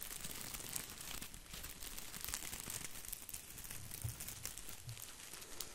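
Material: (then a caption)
Plastic. Fingertips scratch and brush across an artificial plastic boxwood ball, making a steady, dense crinkling rustle of small plastic leaves. The sound is quiet and continuous, with bright, crisp ticks over a soft low rumble.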